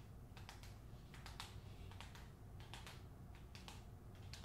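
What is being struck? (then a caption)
Hardcover book with glossy paper jacket. Long acrylic nails tap and scratch the front cover of a closed hardcover novel, "The Hacienda," which has a glossy paper dust jacket. Quick, bright clicking taps come in small clusters over a steady low rumble, sounding much like soft typing.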